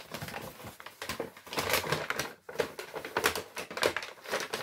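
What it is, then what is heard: Kraft paper shopping bag. An empty brown Lidl kraft paper shopping bag with paper handles is waved, crinkled and crumpled by hand. Dense bursts of dry, papery crackling and rustling come in quick repeated waves, bright and crisp with little low end and almost no ring after each crunch.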